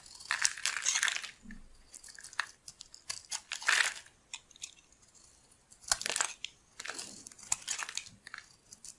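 A metal blade shaves long strips from a solid yellow oval bar of soap held in the palm. Bursts of dry, crisp scraping and crunching, bright and hissy with almost no low end, come and go in uneven strokes with brief quiet gaps.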